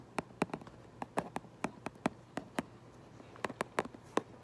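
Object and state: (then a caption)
Cardboard box, tapped. A fingernail traces and taps on the back of a cardboard Minecraft Lego box, giving a quick series of short, dry clicks with a bright edge over a faint low hum. The taps come at irregular intervals with very little ring, and some fall close together.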